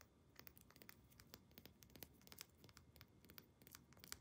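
Long nails rapidly tap and scratch a small dark amber glass essential oil bottle, moving over the glass, its label and its ribbed plastic cap. The quiet, bright clicks and scrapes stop dead with almost no ring, over a soft rustling bed.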